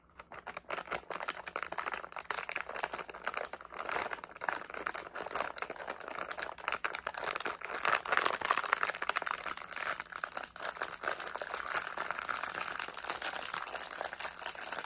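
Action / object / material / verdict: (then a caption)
shake / flexible plastic candy pouch with candies inside / plastic / none. A medium flexible plastic SweeTARTS candy pouch, partly filled with candies, is held in both hands while fingertips squeeze, crinkle and shake it. Dense, rapid crinkling and rustling runs throughout, with bright crackle and the candies faintly rattling inside.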